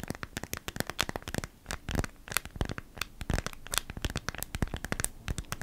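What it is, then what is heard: Beeswax-coated cotton food wrap. A small, flat, thin folded beeswax-coated cotton food wrap (waxed cotton fabric) is held in both hands and scratched and rubbed with long nails. It gives a dense run of dry, crackly crinkles and sharp scratchy ticks with bright edges and no ringing, arriving in quick irregular bursts throughout.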